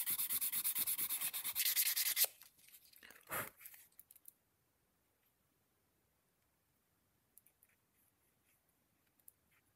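The edge of a small, thin, flat, stitched vegetable-tanned leather card holder, held in one hand, is rubbed with a sanding block and then with a wooden burnishing stick. Quick, bright, scratchy back-and-forth strokes fill the first two seconds, then softer, breathier rubs continue for another two. It ends in near silence with a few faint light ticks.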